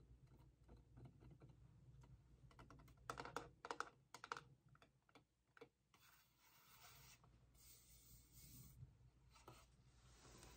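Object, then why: Small vinyl figure. Fingernails tap and rub the rods and body of a small vinyl hourglass-shaped figure with a top disc and base. Quiet, irregular light taps give way to a run of sharper, louder clicks in the middle, with a tone around 1.4 kHz. The clip then settles into soft, hissy rubbing with a few faint taps and a low steady hum underneath.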